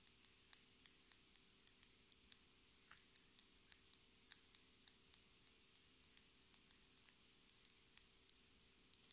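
A small, clear plastic lip gloss tube filled with pink gloss and topped with a metallic cap is tapped and scratched with long red nails. About 30 quiet, sharp clicks with a bright, high edge come at an uneven pace and die away almost instantly, with very little low-end weight.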